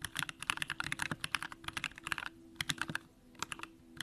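Both hands type continuously with the fingertips on a compact Bakeneko65 mechanical keyboard with an aluminum case, Durock lavender switches and pink plastic keycaps. Bright, short clacking keystrokes come in quick bursts with a couple of brief pauses, over a faint low hum.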